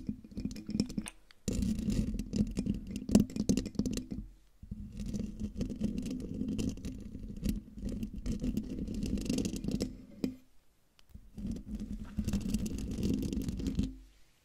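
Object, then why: Metal mesh microphone grille. Long dark-painted nails of both hands scratch the hollow metal mesh grille of a silver Blue Yeti microphone. Heard up close, the result is dense, rumbly scraping and rustling, heavy in the lows, in several long bursts separated by brief silences.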